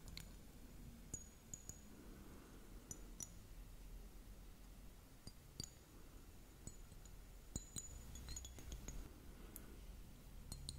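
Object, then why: Hollow plastic liquid glitter hourglass timer. A hollow, hourglass-shaped plastic liquid glitter timer, partly filled with purple liquid and glitter, is held in both hands and tapped with long nails. Sharp, bright clicks and clinks sound irregularly throughout, each dying away almost at once. They sit over a steady, low background hum.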